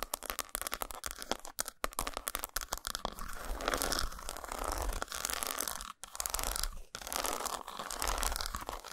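Long nails tap and scratch the textured squares of an unwrapped solid dark chocolate bar resting on a towel. The result is a fast run of crisp, dry clicks and bright, rasping scrapes, with brief pauses between bursts.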